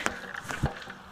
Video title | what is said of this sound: Annual maintenance alternative wastewater treatment system | shake it up and down like that you can hear that ball